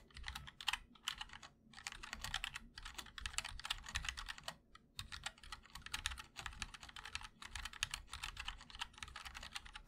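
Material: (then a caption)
Plastic, aluminium. Fingertips of both hands type continuously on a MOD-L 60% mechanical keyboard with linear switches, a black aluminum case and white and black ABS keycaps. The result is a rapid, bright stream of dry, crisp keystroke clacks with almost no ring, coming in dense bursts separated by brief pauses.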